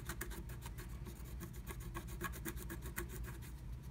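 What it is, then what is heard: Scratch art paper being scratched. A wooden stylus scratches a black-coated scratch art card under a blue plastic stencil, filling in a lightning bolt. Quick, repeated scratchy strokes give a bright, dry rasp over a steady low rumble, at a soft, even level throughout.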